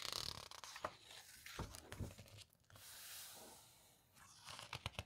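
Fingers flip and squeeze the glossy paper pages of an open hardcover guitar book. Bright, crisp rustling and crinkling with a few sharp page snaps and soft low thumps, plus a smooth, airy swish as a page sweeps over in the middle. The clip ends with a couple of quick, crisp flicks.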